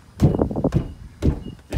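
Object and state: Hollow, rattly van sliding door.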